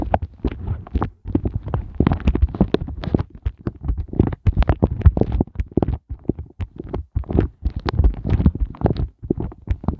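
Flat fingers with glittery nails tap and rub rapidly over the heart bumps of an empty, inverted pink silicone heart ice cube mold. The result is a dense, fast stream of soft, muffled thuds, mostly low in tone, with brief brighter clicks and rubbing textures between them and no ringing after each tap.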